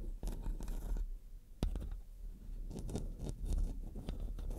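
Long dark nails rub and scratch the metal mesh head of a black studio microphone. The result is a stream of close, rasping scrapes and bright scratchy bursts over a heavy low rumble, with short pauses between strokes.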